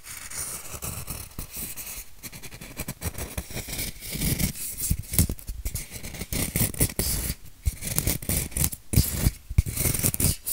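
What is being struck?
Styrofoam block.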